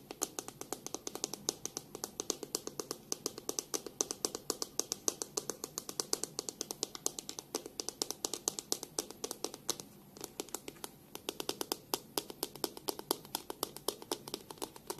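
Long pink nails tap rapidly on the hollow plastic back of a black plastic hairbrush held in both hands. The result is a steady, quiet stream of crisp, bright clicks with almost no low end and very short ring. The tapping briefly thins out just after the ten-second mark before resuming.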